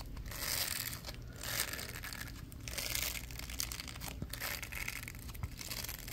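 A small purple plastic brush, a ridged plastic block with a patch of plastic bristles, is scratched by latex-gloved fingers across the bristles and ridges. Bright, crackling scratching and crinkling textures come in fast, continuous bursts, with a faint low hum underneath.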